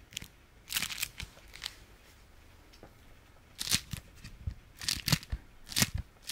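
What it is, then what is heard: Beeswax-coated fabric food wrap. A folded, striped beeswax-coated fabric food wrap is held in the hand and squeezed and scratched with the fingertips. It gives bright, crinkly, slightly sticky crunches in irregular bursts, with quiet pauses between them.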